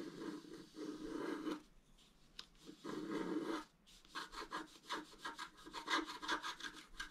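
A wooden stylus scratches repeated hatching for a tree into a flat scratch-art card (black coating over colored foil) lying on a table. Two long, rough rasping strokes with a dry, mid-toned grain come first, then a quick run of short, brighter scratches.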